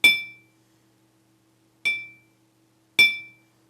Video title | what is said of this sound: Strategies & Steps in Vibration Control | this sound is continuing because there is no way that this energy is dissipating into the system